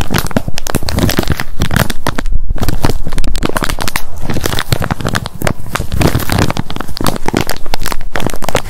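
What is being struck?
Plastic flip lid on a soft wet wipes pack.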